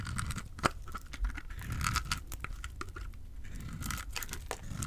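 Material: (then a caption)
Soap. A small, solid orange and white bar of dry soap, held in the fingers, is cut with a utility knife blade, shaving off crumbly pieces. Dry, crunchy scraping and crisp crackling snaps sound in quick bursts over a soft low rumble, with one sharper snap early on.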